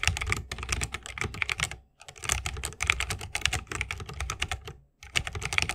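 Fingertips of both hands type fast on an RGB-lit 60% mechanical keyboard with plastic keycaps on tactile switches, set in a solid bamboo wooden case resting on a wrist rest. Rapid, bright, clacky keystrokes come in dense bursts with short, dry decay and a soft low thock beneath. The bursts are broken by two brief silent pauses, near two seconds and near five seconds.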